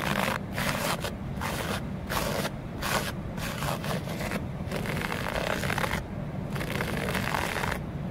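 Fingertips and nails scratch a flat grey low-pile outdoor carpet on a balcony floor. The result is a steady run of rough, dry scraping strokes, broad and noisy with a low rumble underneath. Short gaps break the strokes throughout the clip.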